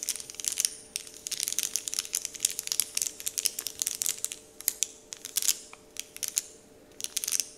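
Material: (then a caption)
Paper. Fingers crinkle and a hand rubs a large, flat, heart-shaped printed paper candy wrapper sheet with Dove printing. Dense bursts of bright, dry crackling and rustling come in quick uneven clusters, with brief quieter gaps toward the end. A faint steady low tone sits underneath.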